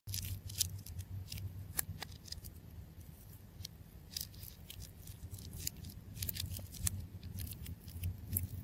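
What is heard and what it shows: A fist-sized, solid ball of wound clear adhesive tape covered in blue star sequins is held in the hand while a craft knife blade repeatedly slices and scratches into the tape layers. Crisp, bright cutting clicks and scrapes stand out over a steady low rumble.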